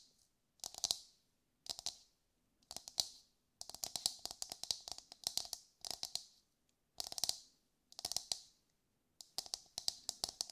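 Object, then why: Whole husked coconut. A brown, husked whole coconut with a hard fibrous shell, held in both hands, is tapped and scratched with long light-grey nails. Short bursts of rapid, dry, bright clicking taps come in quick clusters separated by brief silences, with a faint hollow mid tone under each cluster. Each tap stops almost instantly, leaving no ring.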